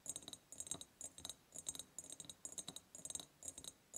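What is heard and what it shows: Long purple nails tap rapidly on both sides of a large, hollow, ribbed clear glass jar. Quick bursts of bright, dry clicks come in quick clusters, with a high, glassy tick and almost no ring or low end.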